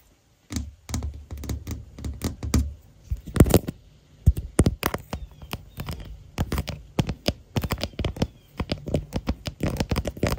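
Long nails and fingertips tap and scratch the lower camera area on the back of a smartphone's clear hard plastic floral case, with the phone itself doing the recording. Dense, irregular, close-up taps land as dull low thumps, mixed with short dry scratching strokes. The tapping starts after a brief silence and continues steadily to the end.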